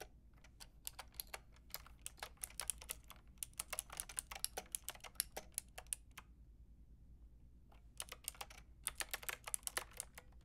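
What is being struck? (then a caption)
Plastic mechanical keyboard with round keycaps. Long painted nails and fingertips type on a white-and-pink Lofree mechanical keyboard with round plastic typewriter-style keycaps and a hollow plastic case, producing quick, bright, clacky keystrokes over a faint low hum. The typing runs steadily for about six seconds, pauses for nearly two seconds, then resumes in a fast burst to the end.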